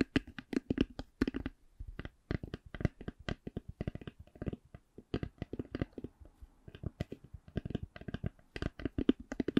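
A hollow black faux-leather-covered hard eyeglass case is tapped and scratched with long nails. The result is a steady stream of short, dry, hollow taps with a low-mid body, in slower and quicker runs, mixed with faint bright scratching. Each tap dies away almost instantly.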